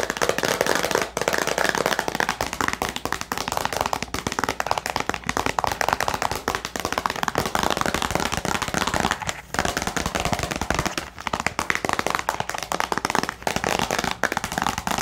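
A small, hollow, clear plastic storage box holding a pen and paper items is held close and tapped rapidly with long nails. The result is a dense, continuous stream of sharp, bright plastic clicks with very short decay, each tap with a slight hollow ring around 855 Hz.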